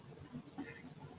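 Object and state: Nothing is struck.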